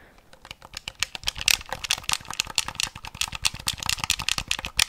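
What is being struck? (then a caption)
Plastic handheld game console. A lime green plastic Game Boy Color, a handheld console with a hollow plastic shell, has its buttons clicked and its case tapped with fingertips and nails. The result is a rapid, irregular stream of sharp, bright plastic clicks and taps, each dying away almost instantly, with little low-end body.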